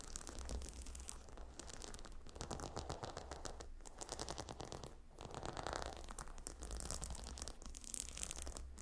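Long nails tap and scratch across the brown hexagonal stone tiles of a gemstone hot stone pillow. Dense, quick, bright scratching and clicking runs throughout over a steady low hum, in soft swells with no clear pauses.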